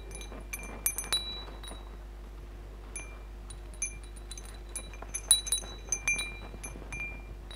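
Fingertips and nails tap and brush the hollow metal tubes and glass crystal beads of a hanging wind chime. Irregular bright clinks and pings ring out in loose clusters over a quiet low hum, with some high tones sustaining briefly before fading.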